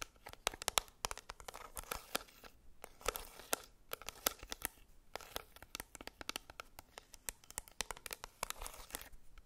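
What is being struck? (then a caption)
Plastic pressed powder compact. Long red nails tap and scratch the clear lid and edges of a small, flat black plastic Maybelline Fit Me pressed powder compact held in the hands. Bright, dry clicks and crisp scratching rasps come in quick uneven bursts, each hit dying out almost instantly with little low end.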